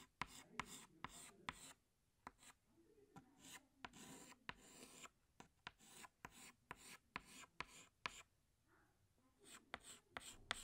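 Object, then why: Chalk stick on chalkboard. Fingertips hold a green chalk stick and scratch it across a large flat black chalkboard while drawing leaves. Short, bright, scratchy strokes come in quick bursts, with sharp clicks as the chalk lands and brief quiet pauses between groups of strokes.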